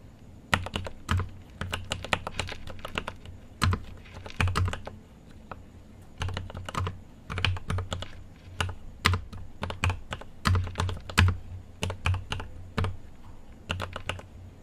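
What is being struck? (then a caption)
Mechanical keyboard with plastic keycaps and metal case. Fingertips type on a mechanical keyboard with an aluminium case and plastic keycaps. Irregular bursts of quick keystrokes come with brief pauses, each press a sharp bright click over a deep, rounded thock. The sound is dry and short, with little ring.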